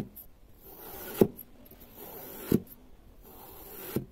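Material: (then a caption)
Kinetic sand. A long serrated metal knife slices down through a solid, palm-sized block of pale yellow kinetic sand molded into a flower-shaped waffle on a pink mat, cutting it into thin strips. Each stroke is a soft, gritty rasping scrape that builds to a brief, crisp crunch as the blade passes through. Three cuts are heard, roughly evenly spaced.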